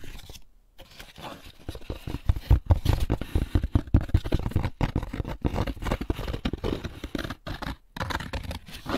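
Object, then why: Empty molded paper pulp egg carton. Fingertips tap and scratch the flat inside of the lid of an opened, empty molded paper pulp egg carton. The result is a dense, uneven run of dry, dull taps and soft scratchy rasps, weighted toward a low thud with little ring, broken by a few brief pauses.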